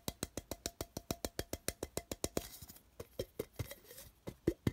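Fingertips tap and drum rapidly on the side of a small, open, empty printed metal tin, hollow, while it is held and turned. An even run of quick, dry, hollow taps gives way after about two and a half seconds to a brief bright rustle, then slower, uneven taps with a faint tinny ring.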